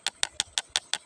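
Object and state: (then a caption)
Ordinary river stones, dull knock. Ordinary river stones from the Lukulo river in Kebumen are knocked together six times, giving short, dry clicks with no ring. The sound is plain and unremarkable, unlike the ringing iron stone they are compared against.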